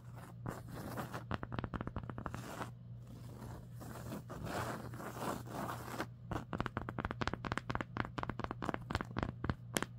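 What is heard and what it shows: Long acrylic nails and fingertips scratch and trace over the threads of a large raised embroidered landscape patch on a green cotton sweatshirt lying flat. The result is a dense run of quick, dry, crunchy scratches and scrapes over a steady low hum, with sharper, more spaced-out strokes in the second half.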